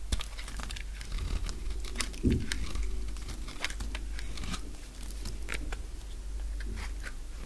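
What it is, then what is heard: Dry bar soap. A utility knife blade peels curls and brittle strips from the surface of a purple solid dry soap bar. A steady stream of short, crisp crackling scrapes rides over a low rumble, with bright, dry snaps that die away quickly.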